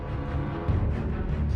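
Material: Nothing is struck.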